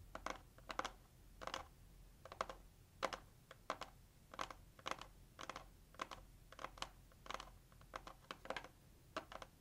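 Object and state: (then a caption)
Cardboard gift box tapped with fingernails. Long acrylic nails tap quickly on the lid of a hollow, pink, heart-shaped cardboard gift box. Short, dry, clicky taps come in quick clusters of two or three across the clip. They have a hollow midrange knock with a bright edge, no ring after each tap, and a quiet, steady background between them.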